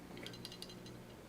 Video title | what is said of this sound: Glock 17 Gen 5 Cleaning: Field Strip, Clean & Reassemble | shake it back and forth and you should hear that firing pin